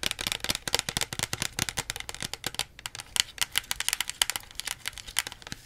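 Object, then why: Small plastic soda bottle. Long nails tap fast on the label and plastic body of a small plastic Pepsi bottle held beside the face. About 38 crisp, bright clicks come in quick uneven bursts, each dying away almost instantly with little low end.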